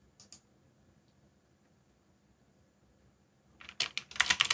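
Fingertips tap the keys of a backlit black plastic mechanical keyboard while typing. Two bright, sharp clicks open the clip, followed by a long near-silent pause. A quick, louder run of crisp, high keystrokes then ends it, each click dying almost instantly.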